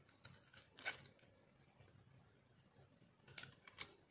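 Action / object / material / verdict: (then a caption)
scrape / bar of soap scraped by a metal knife blade / soap / none. A metal knife blade scrapes and shaves the surface of a solid, oval, peach-orange speckled dry soap bar held in one hand. Short, dry, bright scratching strokes stand out from a quiet background, with louder scrapes near the start and end and almost no ring after each one.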